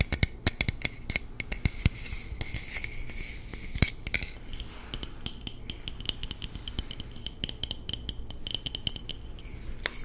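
A hollow, red-painted aluminum water bottle with a screw cap is tapped rapidly with the fingertips and nails. Sharp, quick clicks and taps each carry a short, bright metallic ring over a low, steady background hum.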